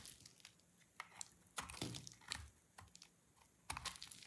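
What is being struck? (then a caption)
Bar of soap scraped with a blade. A blade scrapes a dry cream soap bar with orange inclusions into flakes, giving quiet, dry, brittle scratches and crunchy crackles. The bursts are irregular and bright over a faint hiss, and each stops with almost no ring.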